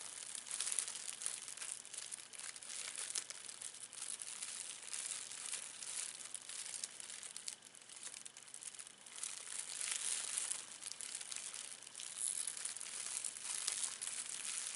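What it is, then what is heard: Clear plastic wrapper. A thin, clear plastic film wrapper is scrunched and crinkled between the fingers of both hands. It makes a continuous, bright crackling that is almost all high-frequency, with no low end. The loudness swells and dips steadily throughout.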